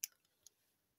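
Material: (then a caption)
Wax. Long painted nails tap and scratch a solid, large yellow wax pillar candle with a paper label. Two sharp, bright clicks stand out, with faint softer ticks between them. Each click dies away almost instantly, leaving a quiet, dry hiss.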